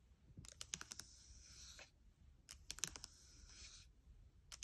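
Fingertips and long nails tap and click rapidly on the trackpad and keys of a gold MacBook Air. Two clusters of sharp, bright clicks each run into a soft, airy scratching hiss. A final light tap closes the clip.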